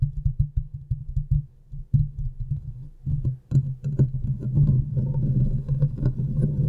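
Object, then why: Steel mesh microphone grille. Long painted nails scratch and tap around the hollow, domed steel mesh grille of a large desktop USB microphone. The result is a rapid run of deep, boomy thumps and muffled scratching with a low hum-like tone and very short decay. The taps grow denser and louder in the second half, with faint brighter scrapes on top.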